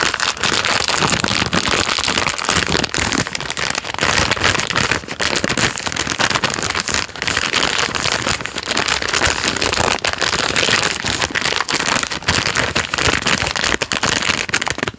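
A full plastic-film packet of Jammie Dodgers Unicorn biscuits is squeezed and rubbed between thumb and fingers, crinkling the wrapper. This makes a dense, bright, continuous crackle and rustle that stays loud and fairly steady for about fifteen seconds. There are only brief dips, and it fades at the very end.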